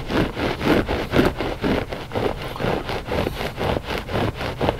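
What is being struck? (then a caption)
Loop-pile textile rug. Short fingernails of both hands scratch the pile of a flat gray loop-pile textile rug that is solid and soft. Steady rasping scratches repeat at about two strokes per second in a loose rhythm, with a dry, mid-range texture and little bright edge. Each stroke fades quickly, leaving no ring.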